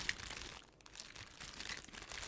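A bag full of metal bottle caps is shaken and crinkled, making a bright, dry crinkling rattle with little low end. The sound briefly quiets partway through, then the crinkling and clattering pick up again until the end.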